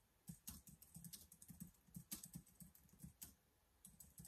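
Fingertips type rapidly on the keys of a black plastic laptop keyboard. Quick, soft clicks and taps with a low thud under each press come in a steady run, with a short pause near the end before the typing resumes.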